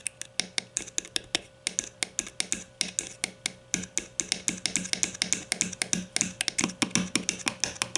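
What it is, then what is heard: Plastic deodorant stick. Long nails rapidly tap and scratch the bottom end of a grey, hollow plastic deodorant stick held between the hands. About 50 sharp, bright, dry clicks come in a quick, uneven stream, each dying away almost at once, over a faint steady hum.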